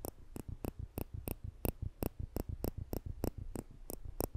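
A pair of polished stainless steel tweezers with slanted tips, held in the fingertips just above a microphone, is pinched repeatedly so the metal tips click together. The result is a steady run of short, dry, crisp clicks with a bright edge, alternating with softer, low, muffled taps in between.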